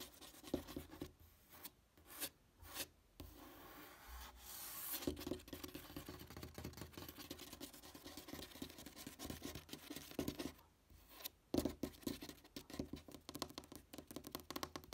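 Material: Cardboard.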